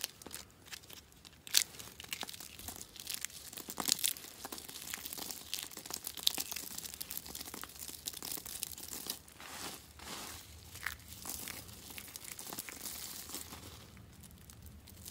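Pieces from a pile of dry yellow soap flakes are crumbled and rubbed between the fingertips of both hands. This makes a steady, quiet stream of dry, bright crackling and crunching with a few sharper snaps. The crackle fades slightly toward the end.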